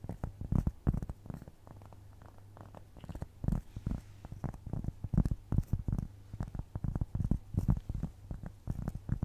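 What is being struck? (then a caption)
Round flat cork trivet. Long nails scratch across a round, flat, solid cork trivet held close to the microphone, producing dense bursts of low, muffled rasping strokes with a steady low hum underneath. The scratching eases into a quieter stretch around two to three seconds before resuming in quick, uneven strokes.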